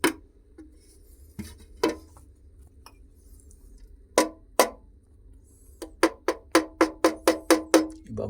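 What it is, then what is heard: Metal antique that is not solid bronze. A bronze-looking antique found in a Japanese tunnel is struck 14 times, sparse at first and then in a quick run, each hit giving a short, hollow, cowbell-like ring with a mid pitch around 500 Hz and a bright click. The ringing tone is not what solid bronze would sound like, so the object is not solid bronze.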